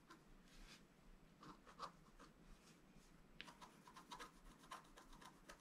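A wooden stylus scratches the coating off a flat, thin, solid black-coated scratch-art paper sheet lying on a table, in short strokes. The result is a quiet series of dry, raspy scratches with bright, papery edges, each stroke stopping almost at once with no ring.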